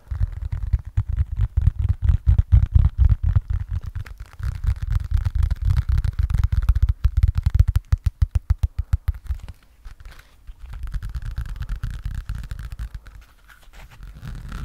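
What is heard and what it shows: A hand-sized, soft yellow foam sponge, still sealed in clear plastic packaging, is held in both hands and squeezed and scratched with the fingertips close to the microphone. Rapid, uneven bursts of deep, muffled scratching and thumping come in quick succession, with a brief quieter lull near the end before the rubbing picks up again.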